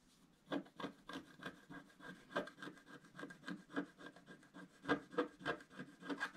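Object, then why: Wax-coated scratch art card scraped with a wooden stylus. A wooden stylus scratches the roof area of a drawing on a black, wax-coated scratch art card lying flat and held by one hand. About nineteen short, dry scraping strokes come in a loose, uneven rhythm, each a brief rasp with mid-range body around 290 Hz and little deep low end, fading quickly with no ring.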